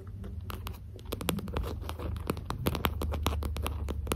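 A small translucent pink plastic lip gloss tube with a cap, held in both hands, is tapped and scratched with long green acrylic nails. Quick, crisp clicks and light scratching repeat steadily over a soft low rumble, each tap dying away almost instantly.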